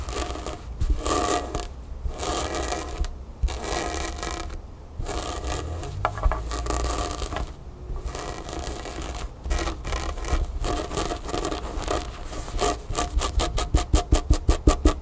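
Long nails scratch the print and fabric of a grey cotton t-shirt with a printed graphic lying on a table. Bursts of dry, rasping scratches separated by short pauses sit over a steady low rumble. Near the end the scratches turn into quick, evenly spaced strokes.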